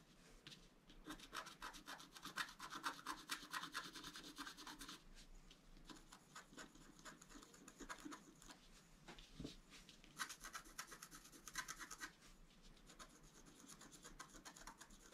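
A wooden stylus scratches the antler area of a flat, black-coated scratch art paper board with repeated short strokes. Quiet, dry, bright scratching and rubbing comes in rapid, uneven bursts, with the densest runs early on, then around the middle and again later. Each stroke ends almost instantly with no ring.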